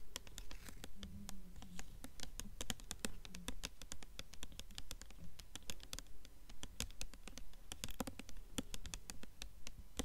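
Long nails tap rapidly on the paper dust jacket of a blue hardcover book held upright. The result is a dense, uneven patter of short, crisp clicks with bright edges over a soft low rumble, with faint scratchy rubs between the taps.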